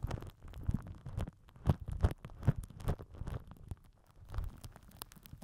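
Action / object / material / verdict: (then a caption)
scrape / plastic wrap over a microphone / plastic film / none. A microphone head wrapped in crinkled purple plastic film is rubbed and pressed with the end of a plastic glue stick. Heard up close, it makes irregular, muffled low thumps and rumbling rubs, with faint crackly bursts reaching into the highs.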